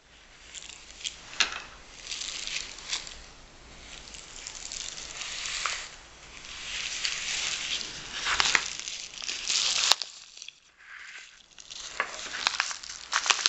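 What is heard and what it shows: Long fingernails and fingertips scratch and rub across a small, empty yellow kraft paper bubble mailer lying flat on a wooden table, then both hands lift it and hold it by the edges. The sound is dry, bright crinkling and scratching with almost no low end, rising and falling in waves. A sharp click near the ten-second mark is followed by softer, sparser rustles.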